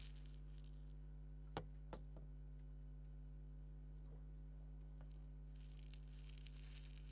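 A small purple hollow plastic egg shaker filled with salt or sand is held between the fingertips, shaken gently and rubbed with the nails. Soft, bright granular rattles and scratchy bursts open and close the clip, with a few sharp ticks in between. A steady low hum runs underneath at a quiet overall level.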